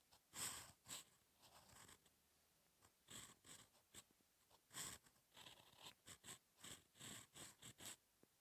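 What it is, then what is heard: Paper sheet scratched by a pen nib. A steel fountain pen nib scratches across a thin, solid sheet of lined paper lying flat, moving in writing strokes. About eleven short, separate bursts of bright, scratchy friction are heard, with quiet gaps between them.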